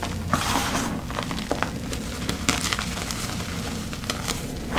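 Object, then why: Loose gym chalk powder and chunks. Bare fingertips and hands dig into, squeeze and rub loose, crumbly teal gym chalk powder and small chunks of crushed chalk reforms in a large black bowl. The result is a steady soft crunching and crackling texture over a low rumble, with several sharper, brighter snaps as pieces crumble apart.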